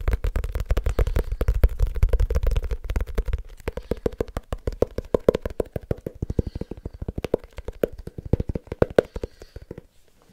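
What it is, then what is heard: Leather-covered notebook. Fingertips quickly tap the cover and edges of a small, solid, black leather-covered notebook held up and tilted. A rapid, uneven stream of short, dry taps starts with deep, thumping knocks for the first few seconds, then turns into lighter clicks that grow quieter and sparser toward the end.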